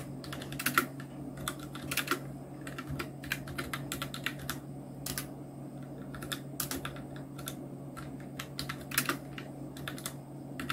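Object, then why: Plastic mechanical keyboard. A full-size black Nubwo Illution NK-70 mechanical keyboard with Outemu red switches, round plastic keycaps and blue backlight is typed on continuously with the fingertips of both hands. The result is a steady stream of short, crisp plastic clacks with brighter louder strikes now and then, over a constant low hum.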